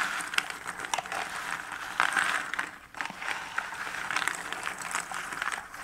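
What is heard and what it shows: Fingertips rummage through, pinch and stir small cardboard jigsaw puzzle pieces scattered in a shallow cardboard box lid. A steady dry rustle of light clicks and ticks, centered in the upper mids with bright edges, continues throughout, with a brief quieter dip near the three-second mark.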